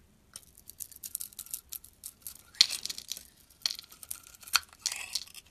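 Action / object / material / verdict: scrape / soap bar scraped with a metal blade / soap / none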